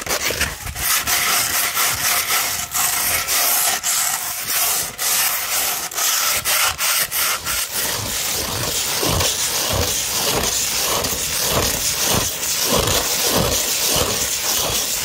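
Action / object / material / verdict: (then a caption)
scrape / sandpaper sheet / sandpaper / none. Long red nails slowly scratch a 240-grit sandpaper sheet, held both curved and flat, making a bright, dry, gritty rasp with little low end. The scratching starts in irregular bursts with brief breaks, then settles from about 8 seconds into steady, rhythmic back-and-forth strokes.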